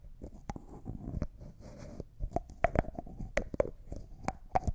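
Fingernails tap a small, hollow, clear jar that looks like glass and appears empty, along with its white plastic lid, and the lid is twisted. Sharp, quick clicks with a faint short ring come over a soft low rumble. A brief grainy scraping sound from the twisting lid sits between the taps.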